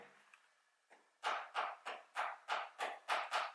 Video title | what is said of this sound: Nike Alphafly Next%: ✅ Vraie VS 🚫 Fausse ! je vous dis TOUT ! | sur la fausse, ça sonne plein parce que c'est plein